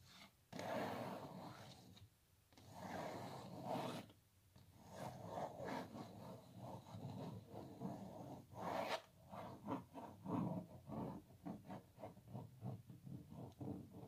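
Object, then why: Printed canvas stretched on a wooden frame. Long nails scratch across a small printed canvas on a wooden frame held upright, making dry, papery rasping strokes. Slower sweeping scratches in the first half give way to quicker, shorter scrapes toward the end.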